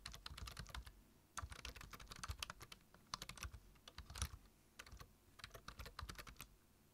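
Fingertips tap the keys of a black plastic low-profile computer keyboard while typing, in quick bursts separated by short pauses. Each keystroke gives a crisp, bright click over a soft low thump, dying away almost at once.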